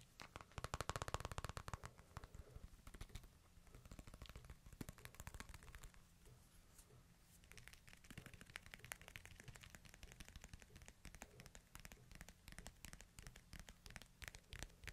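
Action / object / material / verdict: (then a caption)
tap / smartphone with glass screen and plastic case / glass, plastic / none. Fingertips tap rapidly on the glass screen and plastic case of a hand-sized smartphone held flat, screen up. The result is a quiet, dense stream of short, dry clicks and soft thuds, with a low knocking body under bright ticks and no ring after each tap. The tapping varies in pace and intensity, with a faint low hum underneath.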